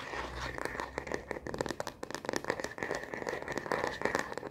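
Long fingernails tap quickly on the back of a solid, hand-sized frosted plastic phone case with black bumper edges, fitted on a smartphone. The result is a fast, continuous run of sharp, dry plastic clicks with very short ring. The clicks carry a steady bright tone near 2 kHz over a midrange body around 480 Hz, with little low end.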